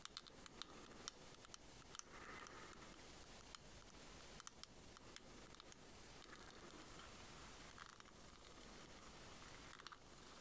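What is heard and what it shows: A small, white, ribbed, shell-shaped hollow plastic pearl case is held in one hand and tapped and scratched along its ridges with long nails. The result is a quiet, steady, bright scratching texture broken by sharp, short clicks that die away almost instantly.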